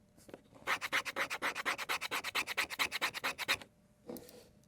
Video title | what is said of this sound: GOOD OR JUST OK? - Victorinox One-Hand Sentinel - Honest Review by AKOGR | If you scratch the handle scales on this knife, it actually sounds like plastic. It also has that plasticky feel to it.